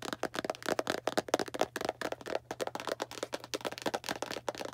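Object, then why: Small cardboard box tapped with fingernails. A small Arm & Hammer cardboard baking soda box, held in hand, is tapped quickly with long black nails, giving a rapid, uneven run of short, dry, hollow clicks with a papery rattle. A faint steady low hum sits underneath.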